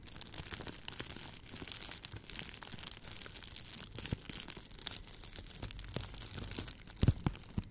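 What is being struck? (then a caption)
Plastic bubble wrap. A clear plastic bubble wrap tube, held in both hands in front of the mic, is squeezed and popped with fingertips and long nails. Quiet, steady crinkling and crackling runs throughout, with short sharp clicks and a few louder pops near the end.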